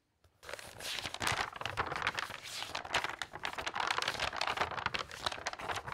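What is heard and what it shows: The pages of a large glossy paper magazine are turned and flipped rapidly by hand. After a brief silence, a steady stream of bright, crisp paper rustling and crinkling begins, made of quick overlapping flutters with a thin low end. It carries on without a pause to the end.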